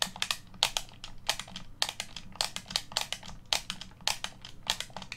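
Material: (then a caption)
Plastic. Fingertips press, rub and click the buttons of a hollow black plastic Xbox One controller held on a table. The result is a rapid, uneven series of sharp, bright plastic clicks and crinkly taps, each dying away almost instantly, over a faint low hum.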